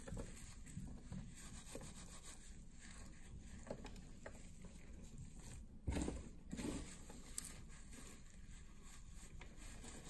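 Cupped bare hands scoop, squeeze and rub a pile of small, brittle, dry pink crumbs of microwaved soap together over a wooden surface, with a knife lying idle nearby. A steady, soft, gritty rustling and crumbling runs throughout, with a few louder crunchy squeezes around the middle.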